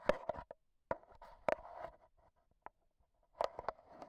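A black Zoom H1n handheld recorder is held in hand while AA batteries worn like long nails tap on its metal mesh microphone head. The result is a quiet, irregular series of sharp, dry clicks and ticks, mid-pitched with brief bright edges and little low end. The taps come in small clusters separated by near-silent pauses, and each one dies away almost instantly.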